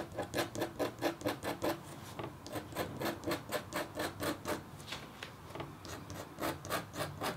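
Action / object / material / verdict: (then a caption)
scrape / stylus on copper foil scratch board / copper foil / none. A red-handled, metal-tipped stylus scratches a flat, black-coated copper foil scratch art board in quick, rasping strokes. The rhythmic scraping comes in three runs separated by brief pauses, each stroke a short, bright rasp with a faint tonal hum near 330 Hz underneath.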